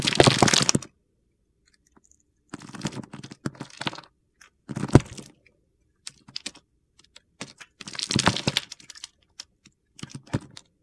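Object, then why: Soap bar cut with a blade. A metal box-cutter blade scrapes and cuts pieces from the edge of a solid pale-green Palmolive soap bar held in hand. Bursts of crisp, crunchy scraping come in separate clusters with short pauses between them, each made of many quick gritty cuts.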